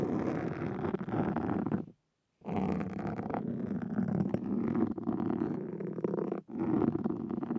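Two wooden-handled carving tools with metal tips scratch at a black foam windscreen on a Zoom recorder. The result is a dense, continuous, low rumbling scrape with a faintly purring texture. It cuts to near silence for about half a second around the 2-second mark, then resumes with a brief dip later on.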